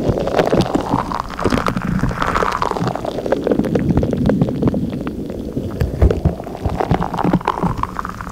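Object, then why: Rubber stress ball filled with gel water beads. A palm-sized purple stretchy rubber stress ball filled with gel water beads is rubbed, tapped and squeezed with long acrylic nails and fingertips. The result is a steady stream of soft squelching, gurgling sounds over a low rumble, dotted with many sharp little nail clicks.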